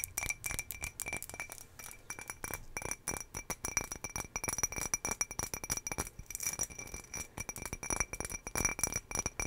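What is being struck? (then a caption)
Ribbed glass jar. A medium ribbed green glass jar, hollow and empty with its lid off, is held in both hands and tapped rapidly with long fingernails. The result is a dense stream of bright, sharp clinks with very little ring and a faint high tone.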